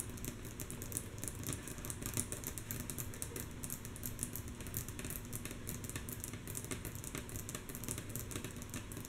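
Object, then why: Wooden tabletop. Long natural fingernail tips of both hands tap rhythmically and softly on a flat, solid, light wooden tabletop. The quick, dense taps sound like bright, dry clicks that fade almost instantly, over a steady low rumble.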